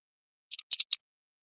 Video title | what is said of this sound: NO NFL SHOW - Hella Bass Fishing Deals (JDM, $2 Starts, Rare Baits more) | Kind of got like a one knocker type rattle to it.